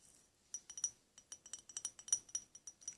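A porcelain ceramic kitchen mug is tapped with the fingers in an irregular series of about fifteen quick taps. Each tap gives a bright, high clinking "ping" that dies away almost at once, with nothing in the low range. The porcelain ceramic material is what gives the mug its ping.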